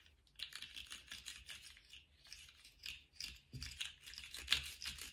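A small rainbow-striped jointed plastic slug fidget toy with hollow segments is held in gloved hands and wiggled and flexed so its segments click against each other. The result is a quiet, dense run of bright, crisp plastic clicks and rattles with little low end, each tick dying away almost instantly.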